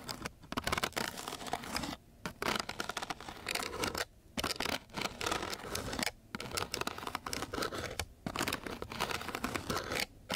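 A wooden popsicle-type stick tip is scratched across the grit of a coarse sandpaper sheet, making dense, bright, rasping scratches in quick bursts. Short pauses break up the bursts.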